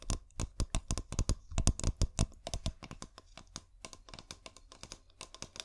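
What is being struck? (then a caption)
Glass bottle. A clear glass bottle with fairy lights inside, held neck-down, is tapped rapidly with long painted nails. The result is a quick, irregular run of short, dry clicks, sharp and bright on top with a low thud beneath. The clicks are loud at first and grow softer and sparser toward the end.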